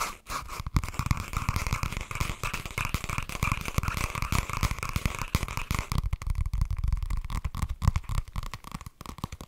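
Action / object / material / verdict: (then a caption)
scrape / cardboard notebook cover / cardboard / none. A flat cream and green cardboard cover of a spiral-bound notebook, held in both hands, is tapped and scratched with fingernails. Rapid dull, low thuds mix with dry, scratchy rustling, with a steady mid-range hiss in the first six seconds before the scratching turns sparser and crisper.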